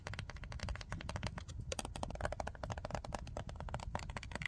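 Long nails rapidly tap and scratch the surfaces of a tall, pink, printed cardboard box of nail wipes that is closed and holding its contents. A dense, steady stream of short, dry clicks and scrapes with a dull, low body and brief bright edges, each tap dying away almost instantly.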